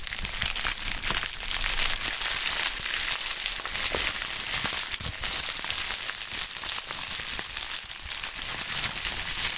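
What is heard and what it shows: A pink plastic bubble wrap sheet is crushed into a ball in gloved hands, then pressed and squeezed. The result is a continuous, dense, bright crinkling and crackling with scattered sharper snaps and little low end, holding a steady level throughout.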